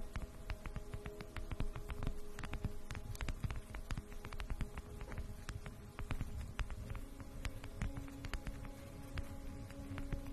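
A round, flat, solid bamboo jar lid is held over the microphone and tapped and scratched with long acrylic nails. Quick, dry clicks come in a dense, uneven stream over a soft scratching texture and a faint low, steady buzzing hum. Each tap dies away almost instantly.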